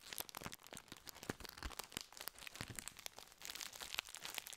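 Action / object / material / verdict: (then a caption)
scrape / plastic biscuit wrapper / plastic / none. A tall gold and blue plastic wrapper of sandwich biscuits, full of biscuits, is held in both hands close to the microphone and squeezed and crinkled with the fingertips. A steady, quiet stream of bright, dry crackles and crunchy rustles runs throughout, with sharp snaps that die away at once.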